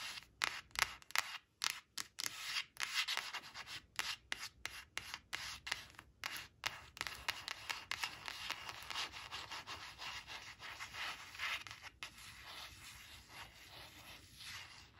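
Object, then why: Coated paper card. Long acrylic nails rub and trace over the printed 2 on a thin coated paper "2 two" flash card resting on woven cloth. Dry, bright scratchy strokes start as short separate swipes, then blur into a steadier, softer run of quick rubbing.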